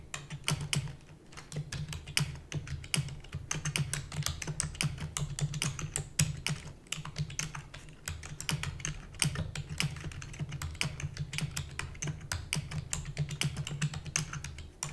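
Rapid typing on a full-size black plastic keyboard with hollow keys, tapped with long natural nails and fingertips. Dense, bright, short clicks clatter almost continuously for the whole clip over a steady low hum, with brief lulls near one and seven seconds.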